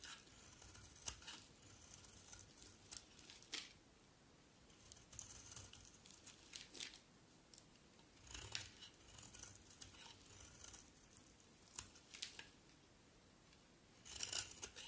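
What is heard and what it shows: A box cutter blade shaves along the edge of a solid, hand-sized, rectangular pink bar of soap, sending pink curls falling off. The sound is quiet, bright, crisp scraping and crackling, with sharp rasping strokes that come in irregular bursts between softer shaving passes.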